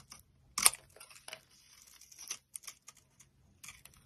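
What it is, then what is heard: Dry bar soap being shaved. A solid, dry orange bar of soap is held in the palm and shaved into curls with a metal utility knife blade. There is a loud opening scrape, then a string of short, bright, crisp carving and scraping strokes with quiet gaps between them.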